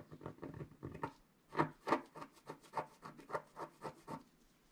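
A wooden stylus scratches across a flat, coated scratch-art sheet in short, dry rasping strokes. A quick cluster of strokes is followed by a brief pause, then a steady series of separate scratches. Each has a gritty midrange texture with a faint bright edge and dies away almost instantly.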